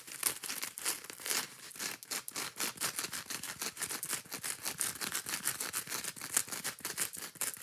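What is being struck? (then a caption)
Kitchen sponge with scouring pad. Long nails scratch rapidly across the green scouring-pad side of a foam kitchen sponge. The result is a fast, continuous run of dry, bright, raspy scratches with almost no low end.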